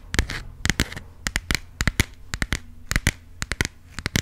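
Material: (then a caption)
Coated card. A small burgundy passport booklet with a textured plastic-coated cover, solid and closed, is held up and tapped and scratched with long pink acrylic nails. It gives a quick, irregular series of sharp, dry clicks with bright, crisp edges, mixed with short scratchy rasps over a faint low hum. Each tap dies away almost instantly.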